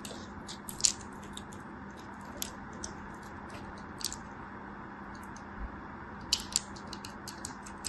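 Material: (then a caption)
Soap. A small solid piece of dry green bar soap, held in fingers with long white nails, is carved and scraped with a craft knife blade so flakes crumble off. Short, dry, bright clicks and crackles pop out sporadically over a quiet, steady low hum.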